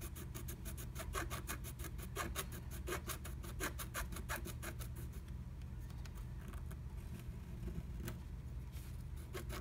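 A wooden stylus scratches a flat black-coated scratch art sheet inside a butterfly stencil cutout. Quick, dense, bright scratching strokes fill the first half, then thin out to occasional strokes. A steady low hum runs underneath throughout.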